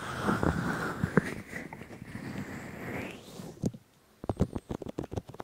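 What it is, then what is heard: Silicone microphone ears being rubbed. Fingers of both hands grip and rub both silicone ears of a 3Dio binaural microphone, making a close, muffled rubbing and rustling with a sweeping rise in brightness. After a brief near-silence, a run of short, sharp squeaky taps and scrapes follows.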